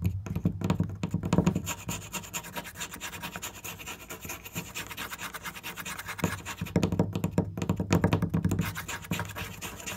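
Fingernails tap and scratch quickly across a flat, solid wooden board with marker drawings on it. The result is a dense, continuous stream of dry scratches and short, dull knocks with a low, woody body. The sound is strongest near the start and again around seven to eight seconds.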